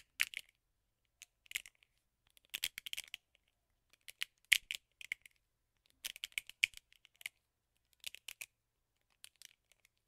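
Fingernails scratch and tap along the rubber bristle pad of a teal and black plastic hairbrush held in the palm. Quiet, bright, crisp clicks and scratchy rasps come in irregular bursts and clusters with short silences between, with almost no low end. Each tick dies away at once.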